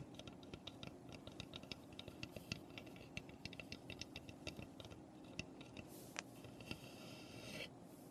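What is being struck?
Small unfinished pine birdhouse tapped with fingernails.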